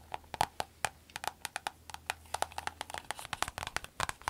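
A soft, glossy green vinyl glasses case held in the hand is tapped and scratched with long acrylic nails. The result is a rapid, irregular series of short, dry clicks with a woody, mid-pitched knock and bright edges, each dying away almost instantly, with faint scratchy rustling between them.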